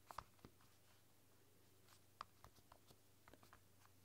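Fingertips and long dark nails type on the soft pink keys of a flexible, translucent silicone roll-up keyboard. About eight quiet, muted taps and light clicks sound in loose bursts, each dying away almost instantly over a faint, steady low hum.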